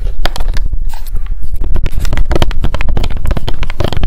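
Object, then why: Clear plastic hair oil pump bottle. Long decorated nails tap fast on the sides and label of a small, square, clear plastic Loretta hair oil bottle with a gold pump and clear cap, held in both hands. The result is a rapid, dense stream of short, dry, crisp clicks with a heavy low thump beneath them, and each tap dies away almost instantly.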